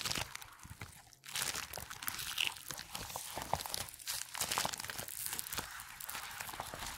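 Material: Latex.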